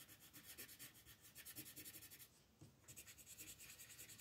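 An orange colored pencil is rubbed in short strokes across a flat paper coloring book page near the edge of the moon. It makes a soft, bright, scratchy rasping in a steady rhythm, with a brief quieter pause just past the midpoint before the strokes resume.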